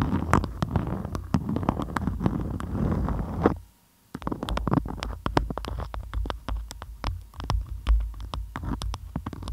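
A beeswax-coated cotton food wrap is molded tightly around a microphone head while both hands with long nails grip, squeeze and scratch the crinkly waxed fabric. It produces a deep, muffled rumbling full of crackles, dense sharp clicks and scratchy ticks. The handling stops for a brief near-silent pause partway through, then resumes.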